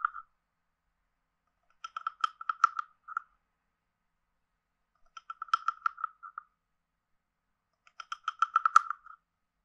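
A wooden stick is scraped along the ridged back of a hand-sized, hollow, carved wooden frog guiro. It makes three separate bursts of rapid, dry, ratcheting clicks that sound like a croak, centered around 1.3 kHz with bright upper overtones. Each click is very short with almost no ring, and silence falls between the bursts.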